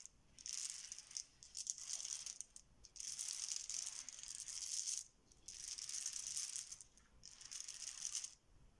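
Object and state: Plastic letter tiles being shuffled.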